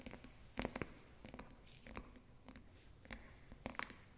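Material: Glass.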